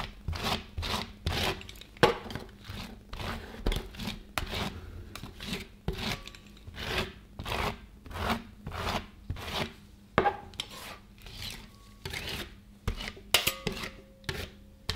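A gloved hand scrapes and smooths a thin, flat rectangle of crumbly frozen ice cream across a large round stainless steel cold plate with a flat steel spatula blade. Repeated short, bright scratching strokes rasp against the steel in a steady rhythm, with occasional sharper metallic clicks and a faint low hum underneath.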